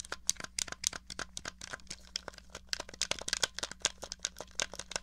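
Long nails tap and scratch rapidly across the case and buttons of a small, hollow, grey plastic NES controller. The result is a dense stream of sharp, bright clicks and crinkly scratches that stop instantly, over a faint steady low hum.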